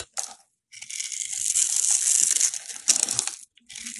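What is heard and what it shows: A solid yellow rectangular soap bar held in hand is scored and shaved with a metal box cutter blade. A brief scrape is followed by a long, steady stretch of bright, crisp crunching and scratching, then a short pause and another shaving stroke. The sound is almost entirely high and hissy, with no low rumble.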